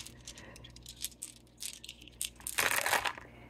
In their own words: Les pierres roulées, ils ont un meilleur son aussi. Ça sonne comme des bijoux.